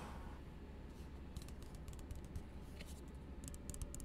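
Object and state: Plastic cup tapped.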